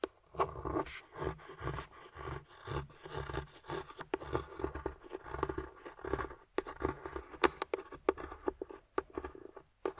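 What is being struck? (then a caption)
Dark chocolate bar scraped with a metal tool. A metal carving tool scrapes and digs into a flat, solid, partly broken dark chocolate bar, carving off shavings. Quiet, dry scratching strokes and crisp little snaps repeat in quick bursts, each dying away almost instantly, with soft low thuds beneath.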